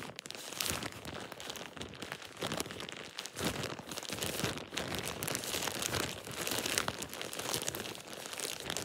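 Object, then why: Thin plastic shower cap. A thin plastic shower cap is scrunched and crinkled by hand. A steady run of bright, dense crinkling with brief louder crackling bursts continues throughout, with little low end and almost no ring after each crackle.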